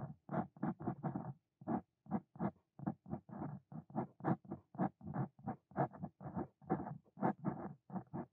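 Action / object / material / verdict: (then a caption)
scrape / steel dip pen nib on paper / paper / none. A Brause Cito Fein steel dip pen nib scratches across a flat white paper notebook page as it writes a line of Korean text. Quiet, dry scratching comes in many short, separate strokes with brief silent gaps between them, mostly low-to-mid and soft with little bright content.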